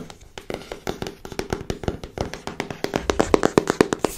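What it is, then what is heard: Cardboard card deck box tapped with nails. Long nails tap quickly and unevenly on the faces and edges of a small pink printed cardboard card deck box held in the hand. The taps are short, dry and clicky with a hollow mid tone, and they grow louder and denser toward the end.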